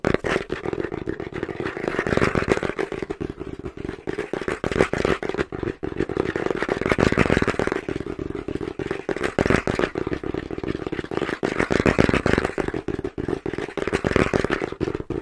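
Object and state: Cardboard box tapped and scratched.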